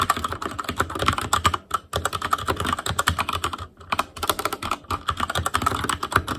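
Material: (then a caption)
Plastic. Both hands type with fingertips on an Asus Claymore Core mechanical keyboard with plastic keycaps, making a fast, steady stream of sharp clacks with a low thud under each press and a bright click on top. The keystrokes run in bursts with short pauses near two seconds and again near four seconds before the typing resumes.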